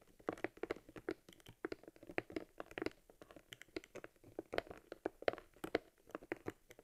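Fingers squeeze and rub a small, hollow, worn leather camera case from an Argus C3 held in the hands. The leather creaks in a quiet, irregular series of short dry taps and crinkles, centered in the midrange with faint bright edges. Each sound dies away almost instantly.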